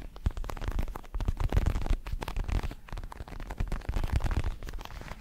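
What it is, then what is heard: Synthetic leather boxing glove. Fingertips tap and scratch the red leatherette surface of a large, padded, red and black Everlast synthetic leather boxing glove. A quick, uneven run of soft, dull thumps mixes with rough scratching. Each tap dies away almost at once, leaving a muffled, low-heavy sound.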